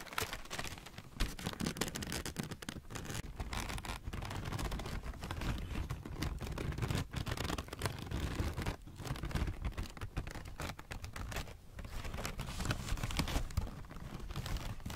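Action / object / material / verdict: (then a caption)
scrape / crumpled thin packing paper / paper / none. A crumpled mass of thin greyish-brown packing paper is pinched, rubbed and crinkled by fingertips and short natural nails, held close up. Dense, continuous crackling and rustling runs throughout over a heavy low rumble, with brief sharper crinkles and short dips in between.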